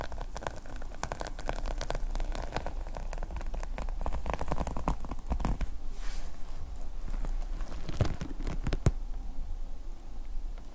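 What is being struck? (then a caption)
Plastic sequin fabric notepad cover. Fingertips brush and scratch the red plastic sequin fabric cover of a small notepad lying flat, making a dense, crackling patter of quick, short clicks over a steady low rumble. Near the end, both hands hold the notepad at its edges and the scratching thins to a few sharp ticks.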